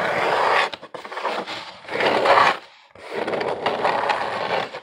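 Fingernails scratch along the ridged surface of a medium, hollow corrugated cardboard box held in both hands. The result is a dry, rasping scrape in repeated strokes separated by brief pauses. Its energy is concentrated in the mids around 1 kHz, with little low end.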